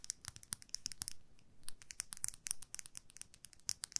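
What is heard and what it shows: Long nails scratch and tap along the white plastic handle and silver metal ferrule of a makeup brush held horizontally. The result is quiet, rapid, bright clicks and scratchy ticks that are crisp and dry, with a faint low rumble underneath.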